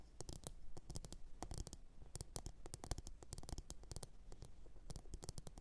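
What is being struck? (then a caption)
Upturned glazed ceramic bowl. Long orange nails tap and scratch a medium glossy blue ceramic bowl that sits hollow, empty and upside down on a fur mat. The result is a quiet, steady stream of quick, dry clicks and scratchy strokes with bright tips that die away at once, over a low, dull rumble.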